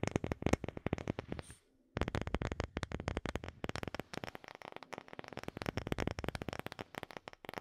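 Long fingernails tap rapidly on a round, light-colored, palm-sized wooden disc that looks solid, held behind the microphone. The taps are dry, short clicks with a dull low body. They run in a fast, uneven flurry, stop briefly for a soft rustle just before the two-second mark, then resume and continue to the end.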